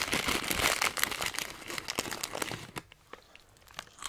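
A filled Hot Nuts snack bag of metallized plastic foil is held upright in one hand and squeezed and crinkled by the fingers. Dense, bright, crackling crinkles fill the first two and a half seconds, then thin out into quieter, scattered crackles until the end.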